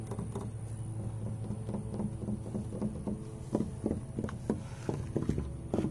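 Fingertips and short nails tap and scratch along old, grey, weathered wooden privacy fence boards outdoors; the planks are large and solid, with knots. The dull, low taps and soft scratches sound dry and die away almost instantly. A steady low rumble and a faint high tone run underneath.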